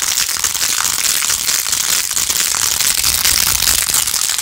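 Long nails scratch fast over the rows of pink plastic pearl beads on a hollow, handheld, rose-gold-edged plastic phone case. The result is a dense, steady, bright crackling and clicking with almost no low end, holding an even level throughout.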